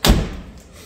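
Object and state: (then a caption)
Solid-sounding insulated car door. The restored steel door of a Jaguar E-Type, fitted with a sound-deadening mat, is shut once, giving a single deep, low thud that dies away in a fraction of a second. It sounds solid, with none of the ringing of the original door, and the close is judged perfect.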